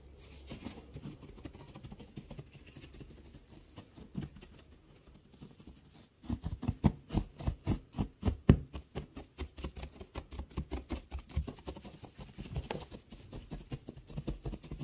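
Fingertips rub and scratch through a pile of curly pale wood shavings. A soft, low rustle fills the first six seconds, then gives way to louder, rapid, dry scratching bursts that continue to the end.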